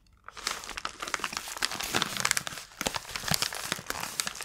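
A small, closed white paper padded mailer envelope is handled with long nails and fingertips. Its paper crinkles and rubs in dense, bright crackles. The crackling starts after a brief quiet and carries on steadily through the clip.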